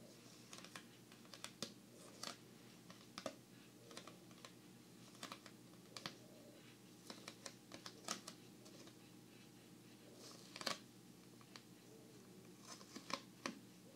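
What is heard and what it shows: A single giant playing card of thin coated paper card, held flat at its edges in both hands, is tapped and scratched with long manicured nails. Quiet, sharp, bright taps and clicks land irregularly over faint scratching, each dying away almost at once. A steady low hum sits underneath throughout.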